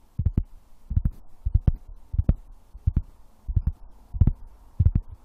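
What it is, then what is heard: Tapped wood. Wood is tapped in quick clusters of two or three soft, dull taps, each cluster following the last at a loose, uneven pace. The thumps are deep and low, with almost no brightness, and each dies away almost instantly, giving a muffled, heartbeat-like pulse over a quiet background.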